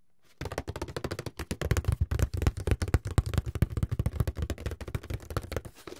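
A medium, closed, hollow white paperboard box is turned in the hands while fingertips and nails tap and scratch its sides and lid. After a brief silence, about 35 rapid, irregular, dull hollow thumps follow, with low, boomy bodies that die away almost instantly. Faint scratching runs between the taps.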